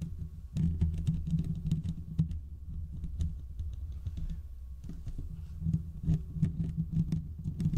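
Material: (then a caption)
Steel mesh. Fingertips and short nails on both hands scratch the hollow domed steel mesh grille of a large desktop condenser microphone. The result is a dense, continuous patter of muffled, thumpy scratching that sits heavily in the low end, with brief faint bright ticks. It swells and eases in waves with a short pause near the middle.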